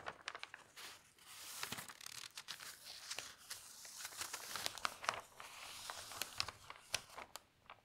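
Hands lift, turn and smooth the large pages of a thin newsprint newspaper. Bright, dry crinkling and crunching run throughout, with sharp snaps and rustles.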